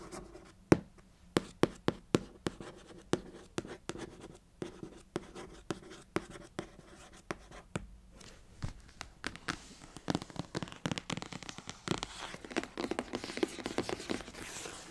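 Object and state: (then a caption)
Cardboard box. Long acrylic nails tap and trace across the top of a closed, hollow, long rectangular printed cardboard box for a Mermade hair waver lying flat on a blanket. Dozens of quick, dry, hollow taps are heard with no ring. The taps blend into denser scratching and tracing toward the end.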